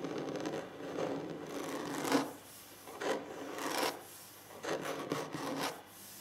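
Scratching on a wooden table surface produces dry, raspy rubbing strokes that swell and fade in uneven bursts, with a low-mid body and a bright edge. Quiet pauses fall between the strokes.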